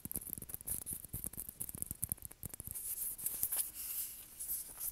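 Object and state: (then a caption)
Plastic ping pong ball tapped and scratched. A small hollow white plastic ping pong ball held between the hands is tapped and scratched with fingernails. Quick, sharp taps with low thumps come first, then give way to softer, continuous scratching with a bright, high hiss on top.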